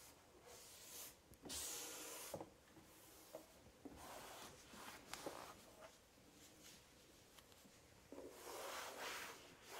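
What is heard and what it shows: A cloth held in the hand wipes and rubs the bottom of a large, hollow, empty white melamine kitchen drawer. The result is soft, bright swishing and scrubbing strokes that rise and fade, broken by a few short, light knocks against the drawer.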